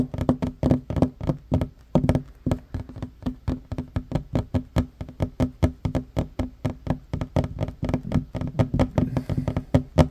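Fingertips and short nails of both hands tap fast on a flat, solid wooden table top. The result is a steady stream of quick, dull knocks with a low, woody body around 250 Hz and almost no ring.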